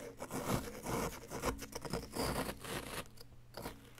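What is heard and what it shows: A flat wooden chisel scrapes a solid yellow-green plaster dig-kit block to reveal an item embedded inside. Short, gritty, crunching scrapes repeat in an uneven rhythm, with low rubbing body and bright crumbly grit. The strokes grow quieter and sparser toward the end.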